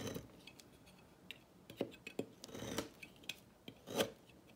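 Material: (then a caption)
Soap. A solid turquoise bar of dry soap, held in fingers on a table, is sliced with a thin metal blade into brittle flakes. About twelve short, crisp cuts sound as dry crunches and scrapes with bright, brittle highs over a quiet background. Each cut dies away almost at once.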